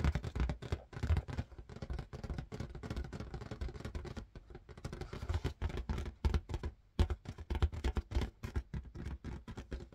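Fingers tap rapidly on an inflated red marble-pattern latex balloon, making a dense run of soft, short, hollow thumps. Each tap is mostly low and dies away almost at once.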